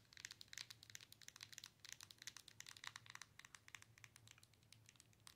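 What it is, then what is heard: Handheld game console tapped with fingernails. Long nails tap and scratch across the glass touchscreen of a Nintendo Switch handheld console with a plastic body, held in the hands. A quiet, rapid, irregular run of bright, dry clicks and crinkly ticks dies away almost instantly, over a faint low hum.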